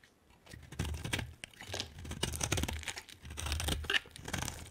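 A utility knife blade cuts a hand-sized solid white bar of soap with a yellow outer layer into chunks and shavings. Each cut makes a dry, crisp crunching and scraping sound with bright edges and a soft low thud beneath. The strokes run in quick, overlapping bursts that stop almost instantly.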